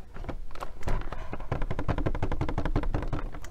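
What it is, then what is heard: Plastic blister toy package. A boxed doll toy package, with a hollow, empty-looking clear plastic blister dome holding a small doll on a printed cardboard backing, is held in one hand and tapped on the plastic dome with long fingernails. The result is a rapid, steady flurry of short, dull, clicky taps with a hollow, low thump and almost no ring after each strike.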